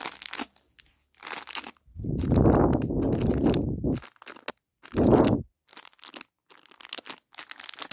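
Hands squeeze and crunch a full plastic snack bag of chocolate raisins. Sharp, bright crinkles and crackles come in quick bursts, broken by a long, loud, muffled crunching squeeze and a second, shorter one. Light crinkling fills the rest.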